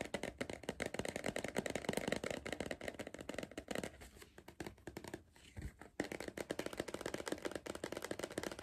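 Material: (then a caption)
Cardboard. Fingertips tap and drum rapidly on the side wall of a hollow Pringles cardboard crisp tube gripped in the hand, making a dense stream of short, dry, hollow knocks with a mid-pitched tone. The drumming softens into lighter, sparser taps partway through, then picks back up to a steady, busy patter.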